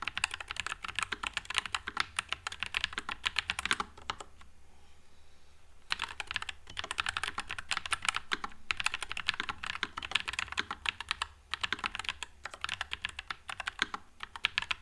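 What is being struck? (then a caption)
Low-profile mechanical keyboard with plastic keycaps. Fingertips type continuously on a white low-profile Nuphy Air96 mechanical keyboard with Wisteria switches and plastic keycaps, producing rapid, bright, crisp clacks. The typing pauses briefly near the middle, leaving a quiet gap before it resumes at the same steady pace.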